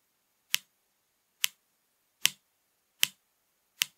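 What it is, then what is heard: Plastic drink bottle. Long painted nails tap on the label and cap area of a full, upright 500 ml blue PRIME plastic drink bottle filled with liquid. Five sharp, bright clicks land at uneven intervals in a quiet space, each dying away almost instantly.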